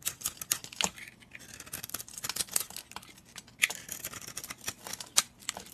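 A utility blade scrapes and shaves flakes off a solid oval teal-and-orange bar of dry soap held in the hand. Quiet, crisp, bright scraping strokes come in an irregular series, with a few sharper, louder cuts standing out and almost no low end.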